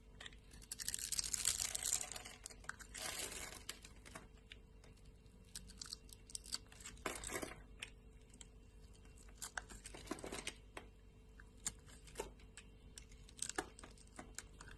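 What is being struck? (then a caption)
Soap bar. A solid pink rectangular bar of soap, held in the hand, has its surface cut into small cubes with a metal blade. A long, bright scraping shave opens the clip, followed by quieter crisp crunches and sharp little clicks as the blade slices through the soap at an irregular pace.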